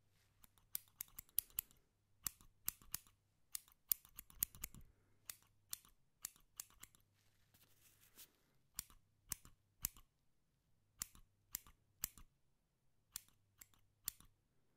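A small pair of steel scissors, held in the fingers close to the microphone, is opened and closed again and again. It makes quick, bright snips and metallic clicks, each dying away almost instantly. The snips come in irregular bursts with short pauses, over a faint low hum.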